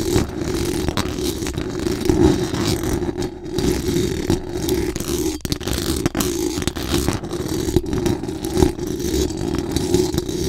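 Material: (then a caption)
Metal mesh. Very long acrylic nails on both hands scratch fast across the hollow metal mesh dome grille of a large condenser microphone. The result is a dense, continuous rasping scrape with a heavy low-mid rumble and sharp, bright ticks scattered throughout.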